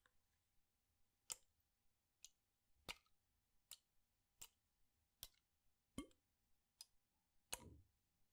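A clear PET water bottle with a blue cap, partly filled with water, is tilted and shaken in one hand while fingertips and nails touch the plastic. About ten sharp, bright plastic clicks and taps come at irregular intervals, each dying away almost instantly. A couple of them are followed by a brief low slosh of water.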